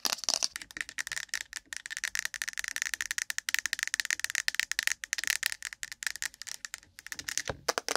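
Long pointed nails from both hands tap fast on the sides and lid of a hand-sized, cylindrical, ribbed, translucent plastic case full of cotton swabs set on the microphone. The result is a dense, continuous patter of crisp, bright clicks with a hollow plastic tone around 1.8 kHz. Each click stops dead with no low end and no ring.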